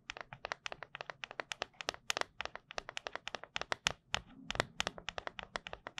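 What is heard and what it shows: Long acrylic nails tap and scratch the top of a round, silver, hollow and empty metal tin lid held flat in both hands above the microphone. About 44 rapid, crisp, bright clicks sound in quick succession, each dying away almost instantly with almost no low end. A brief scratchy rasp joins the taps about two-thirds of the way through.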